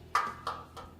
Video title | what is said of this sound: ประตูสแตนเลสอบสีพาวเดอร์โค้ท -ช่างตั้ม- EP 252 ร้านน้องสาวสแตนเลส นนทบุรี 0822033334 | ตัวนี้มันจะดังแน่น สแตนเลตมันจะดังปั๊งๆเลยแต่ถ้าอลูมิเนียมมันจะเบานิดนึง